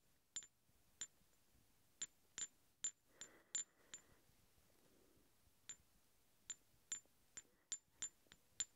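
Two large solid steel hex bolts held in the hands are clinked together 16 times at an uneven pace. Each strike gives a short, bright, high metallic tick that dies away almost at once, with a faint hiss underneath.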